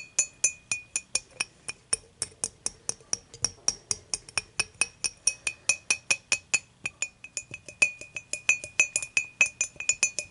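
Long matte nails tap and scratch the side of an empty, clear dimpled glass beer mug with a handle, tilted on a white cloth. About 49 quick, bright glassy clinks ring in a steady stream, each with a clear tone near 2.5 kHz that dies away almost at once. Soft scratching fills the gaps between taps.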